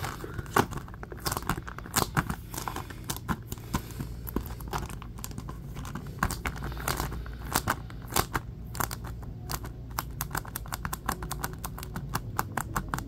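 A blue plastic Ghostbusters Blu-ray case is held in both hands while fingertips and nails grip, tap and scratch it. The result is a steady stream of sharp, dry plastic clicks and taps over scratchy, crinkly rubbing and a low background rumble.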